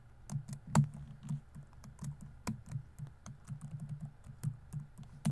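Fingertips rapidly tap the plastic keys of a grey laptop's keyboard while typing, producing quick, soft, low thuds with short bright clicks on top. The taps come in an uneven stream of quiet keystrokes with a few sharper accents and little ring.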